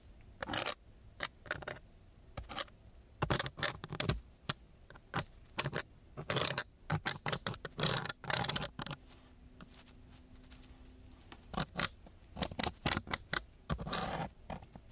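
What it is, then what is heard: Sandpaper sheet scraped with a wooden stick. A thin wooden stick scrapes and scratches across the grit of a coarse brown sandpaper sheet in a series of short, quick strokes. Each stroke gives a dry, gritty, bright rasp that stops almost at once. The strokes come in uneven bursts, with a quieter pause in the middle where only a faint low hum remains.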